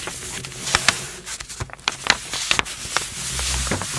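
Fingertips with long blue-painted nails rub across a large, thin, flat printed glossy paper first aid instruction sheet lying on a dark surface, then fold and lift a corner of it. A steady, bright papery hiss is broken by short, sharp crinkling crackles that stop almost instantly.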